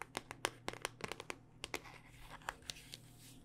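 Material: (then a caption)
Hard plastic. Long dark-painted nails tap a handheld smartphone in a solid, black rugged hard-plastic case. Fourteen quiet, dry, bright clicks come in an irregular rhythm, each dying out almost instantly with no ring. Soft scratchy handling noise and a faint low hum sit underneath.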